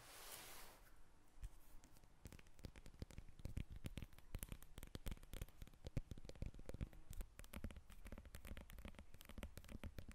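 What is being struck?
Lemon peel.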